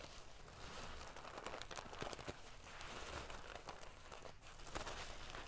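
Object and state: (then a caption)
Metal sequin pillow being ruffled. Long painted fingernails scratch and ruffle a large decorative pillow covered in rows of small silver metal sequins sewn onto fabric. A quiet, continuous crinkling, scratchy rustle with many tiny bright clicks runs throughout, over a soft low rumble, with slightly louder bursts as the sequins are brushed back and forth.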